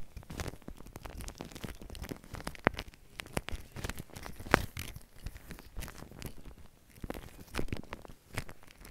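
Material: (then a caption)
Foam. Fingertips press, squish and smear a large soft mound of white shaving cream foam spread on plastic wrap. The result is an irregular stream of quiet wet squelches, crackles and crinkly plastic rustles, with two sharper clicking pops standing out.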